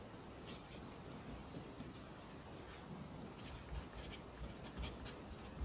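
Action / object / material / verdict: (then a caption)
scrape / graphite pencil on a paper notebook page / paper / none. A pencil writes on the right-hand page of an open lined paper notebook resting on a desk, its graphite scratching the paper throughout. The scratching is soft and steady, with brief bright strokes and a few low taps toward the end.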